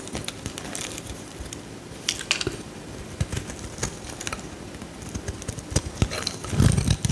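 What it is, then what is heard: Bar of soap being scraped. A metal utility knife blade scrapes curls off a solid bright green bar of soap held in the hand. Short, crisp scraping crackles with bright edges repeat irregularly over a low, steady background rumble, and a louder cluster of scrapes comes near the end.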